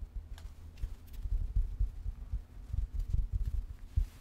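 Long red-painted nails scratch and rub a medium, soft, pink furry stuffed teddy bear with a red bow. The result is a muffled, low thumping rustle of irregular soft pulses, with faint bright scratchy flecks over it.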